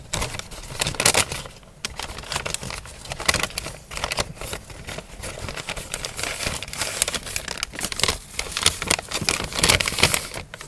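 An empty brown kraft paper fast-food takeaway bag is crumpled, folded and rubbed with fingertips in both hands. Dense, bright crinkling and crackling runs continuously, swelling into louder bursts with brief quieter gaps.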